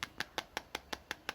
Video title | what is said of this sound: Kesan Pertama Pegang Sharp Aquos Zero 2 aka SHV 47 | kalau kita ketuk gini, ini kelihatan plastik banget. Ini kayaknya polikarbonat ya